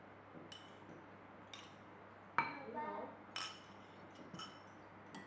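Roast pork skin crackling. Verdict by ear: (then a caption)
Crisp. Roast pork skin crackling, reheated in the oven, is handled, giving six sharp, crisp crackles and snaps with brief crunchy rattles in between. It sounds crispy after reheating.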